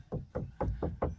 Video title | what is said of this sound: Peugeot 407 SW 2006 particle filter additive level too low PatFluid , EOLYS ,DPF Fluid | it sounds different when you tap the tank it actually sounded empty before